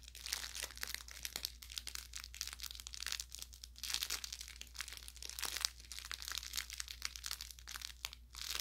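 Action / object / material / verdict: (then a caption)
shake / fabric plush toy with crinkly plastic filling / plastic film / none. A hand grips and squeezes the tapered lower end of an orange velour plush carrot toy with crinkle filling, crinkling the inside. Dense, bright crackles and crunchy crinkles come in quick bursts throughout, over a steady low hum.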